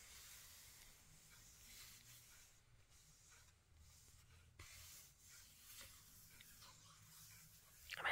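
A flat hand and fingertips rub and trace across the glossy, magazine-style paper pages of a large retro 1990s makeup book lying open on a blanket. The result is a quiet, steady hissing swish of skin on paper, with a brief sharper tick partway through and a louder rustle at the very end.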